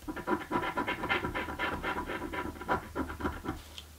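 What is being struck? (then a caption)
Paper scratch-off lottery ticket. A coin scratches the coating off a thin card "Mystic Riches" scratch-off lottery ticket lying flat on a dark table, held down by fingernails. About fifteen short, raspy scraping strokes come in an uneven rhythm, leaving debris from the scratched coating on the table.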